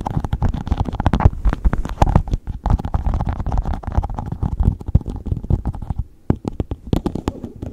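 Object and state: Empty plastic cup, hollow.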